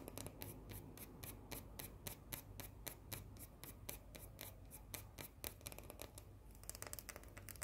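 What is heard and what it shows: Long painted nails rapidly scratch a small round cookie with a solid white chocolate shell, making about 34 short, crisp, dry scratching strokes under a low steady hum. The strokes grow quicker and denser near the end.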